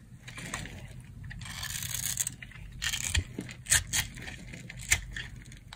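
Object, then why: Soap bar carved with a knife. A solid rectangular bar of dry tan soap, held in the palm, is carved with a metal knife blade. Crunchy slicing and bright scraping sounds come in uneven bursts as flakes fall off.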